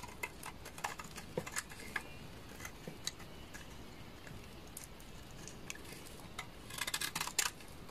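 A knife blade shaves strips from the face of a solid, translucent amber bar of laundry soap. Sparse, crisp, bright clicks and short scrapes sound over a quiet, low hiss, with a denser cluster of cuts near the end.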